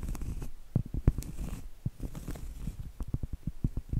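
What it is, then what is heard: Cork trivet. Long acrylic nails scratch and tap the surface of a round, flat, solid cork trivet held upright. A quick, irregular run of soft, dull, low thuds sits over a faint scratchy rustle, and each tap dies away almost instantly.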